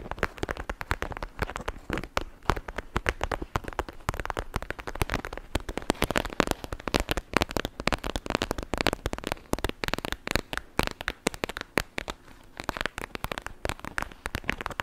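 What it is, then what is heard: Plastic gel bead pouch. A palm-sized clear plastic pouch filled with blue beads and gel is squeezed and tapped with long nails over a microphone. It gives a dense, continuous crackling of sharp, short ticks and pops that spread from low to bright tones, with no pauses across the clip.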